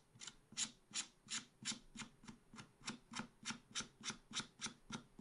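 A wooden stylus scrapes fine lines into a black-coated scratch art paper page in a small spiral pad. About seventeen short, bright, hissy scratches repeat at a steady, slightly uneven pace, each one quick and dry with almost no low end.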